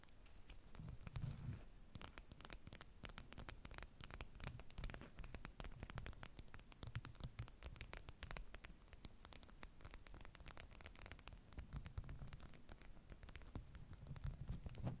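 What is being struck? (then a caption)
Beeswax-coated cotton food wrap. Long nails scratch quickly over and along a small folded piece of bee-print beeswax-coated cotton food wrap, held upright above a stack of identical wraps. The result is a steady, quiet stream of rapid, dry scratches and crisp ticks, with some crinkling of the stiff waxed fabric over a soft low rumble.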